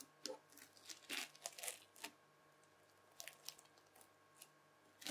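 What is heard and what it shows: A white plastic fork stabs, scratches and lifts a mass of red floam slime packed with beads. It makes bright, crunchy crackling bursts in irregular clusters, with quiet gaps between them. A faint steady hum sits underneath.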